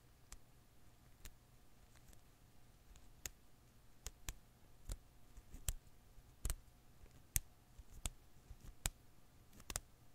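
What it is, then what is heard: Rubber Koosh ball. A hand-sized blue and green rubber-filament Koosh ball is held in one hand while the other hand's fingertips and nails pluck and snap its strands. About twelve short, dry, bright clicks sound at irregular intervals over a quiet background with a steady low hum.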